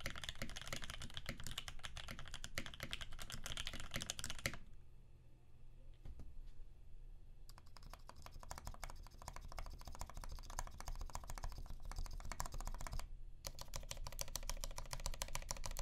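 A Percent Canoe 65% mechanical keyboard with a clear acrylic case, aluminum plate, filmed Alpaca switches lubed with 3204, and cream PBT keycaps is typed on with both hands, then one hand's fingertips press individual keys. Dense runs of deep, low clacks with bright clicky edges are broken by a quieter stretch of sparse keypresses and a short pause before the typing resumes.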